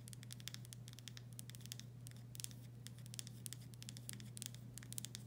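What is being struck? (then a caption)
Glass pickle jar with paper label. Long stiletto nails tap and scratch the paper-labeled glass body of a full, medium-sized Vlasic pickle jar. The result is a quiet, continuous stream of quick, bright clicks and scratchy patter over a steady low hum.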